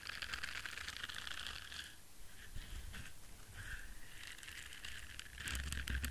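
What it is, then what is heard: Silicone scrubber brush. An orange silicone bristle scrubber brush is held in one hand while fingertips and nails scratch across its bristles. The result is bursts of dry, bright, crackling scratches over a low rumble. There is a quieter stretch in the middle, and the scratching grows louder again at the end.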